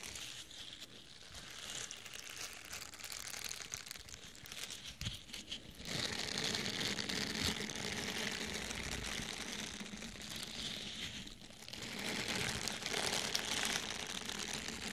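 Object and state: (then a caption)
Foam sponge. A small, soft, solid orange foam sponge is squeezed and scratched with fingertips and nails. It makes a dense, bright, crinkly scratching that grows louder and fuller from about six seconds, with a brief dip just before twelve seconds.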